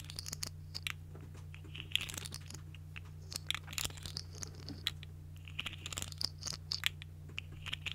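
A small, hollow, colorful segmented plastic articulated fidget slug toy is held in both hands while fingers with long nails twist and bend its segments. The result is a run of quick, bright, crunchy plastic clicks in irregular bursts over a steady low hum.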